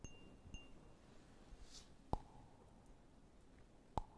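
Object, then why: Small cut-glass cup. A small, clear, hollow and empty cut-glass cup with a diamond pattern is held near the mic and tapped with fingertips and nails. Four quiet taps are heard: the first two give short, bright glassy pings, and the last two are louder clinks that leave a brief mid-pitched ring. The taps are spread unevenly over a soft background hiss.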